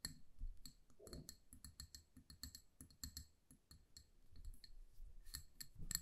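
A small amber glass candle jar filled with wax is held in both hands and tapped with long nails on its sides and rim. Around twenty quick, dry clicks and light clinks come in an irregular run, each with a bright, high glassy tick over soft low thumps and almost no ring.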